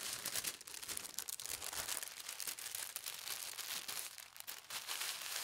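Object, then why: Thin tissue paper sheet. A thin polka dot tissue paper sheet is folded in half and smoothed flat with the fingertips and palms. The result is a steady, bright, airy crinkling and rustling with quick soft crackles and almost no low end.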